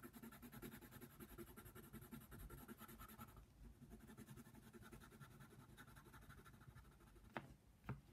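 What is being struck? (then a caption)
Paper page under a wooden colored pencil. The tip of a yellow wooden colored pencil, held in the fingers, scratches back and forth across a thin white paper coloring book page (a giraffe) lying flat on a table. The result is a quiet, steady run of rapid, dry scratching strokes. Near the end come two sharper, brighter ticks.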